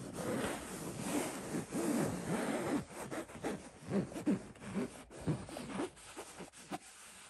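Fingertips scratch the woven fabric of a soft, stuffed cotton throw pillow with a floral print. The result is a dense, irregular scratchy rustle of quick strokes, fuller and steadier at first, then breaking into sparser, quieter scrapes.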